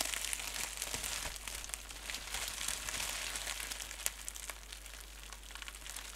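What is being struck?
Plastic bubble wrap.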